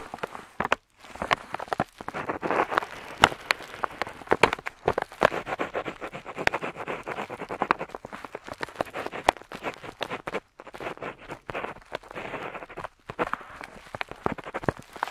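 A metal dip pen nib scratches across a flat paper map sheet while inking lines, with a fingertip steadying the sheet. Dense, dry scratching rustles in quick strokes, broken by sharp ticks and a few brief pauses.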